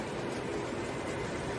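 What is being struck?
Nothing is struck.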